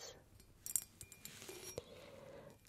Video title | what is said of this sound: ASMR - Tingle Basket - New Year Triggers & Sounds | it sounds really beautiful. It's hollow and sounds like tingly tingles.